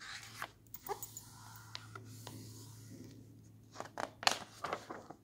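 Fingertips slowly turn and flip the white paper pages of an open hardcover book resting on a table. Soft papery rustles and sliding whispers are broken by a series of crisp, bright flicks, the sharpest clustering near the end, over a faint steady low hum.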